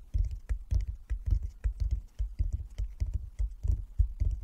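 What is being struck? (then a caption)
Wooden chess board. Fingertips of both hands tap rapidly on the surface of a flat wooden chess board with light and dark squares lying on a table. The sound is a quick, irregular patter of soft, dull, low thumps with short clicky tops that die away almost at once.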